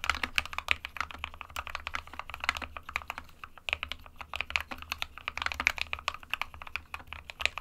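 Fingertips of both hands type continuously on a small 60% SK61 mechanical keyboard with a white plastic case and plastic keycaps, resting on a desk mat. A steady stream of quick, bright, clacky keystrokes stops dead after each press, over a faint low hum.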